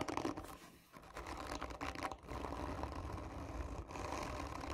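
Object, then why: Cardboard tube. Long nails scratch the surface of a hollow, textured cardboard tube lying on its side, using both hands. A dense, continuous rasping scrape fills the clip, with brief dips around the one- and two-second marks before it resumes steadily.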